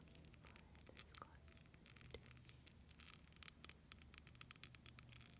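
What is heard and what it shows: Long nails scratch rapidly over the beads of a clear, solid, hand-sized plastic beaded snowflake ornament. The result is a quiet, dense stream of bright, crisp clicks and scrapes over a low rumble.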